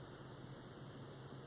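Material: Nothing is struck.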